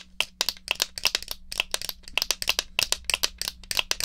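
A small, hollow, black plastic Atari joystick controller is held in hand while long nails tap and scratch its base and the fire button is pressed. About twenty quick, dry, bright plastic clicks and taps come in an uneven rhythm, each dying away almost instantly over a faint steady low hum.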